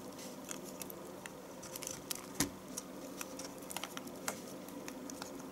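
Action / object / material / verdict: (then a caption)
scrape / bar of household soap cut with a knife / soap / none. A knife shaves thin curls from the end of a solid yellow household soap bar with stamped letters. Soft, crisp scraping and bright little clicks come in uneven bursts over a steady low background hiss, with one sharper snap near the middle.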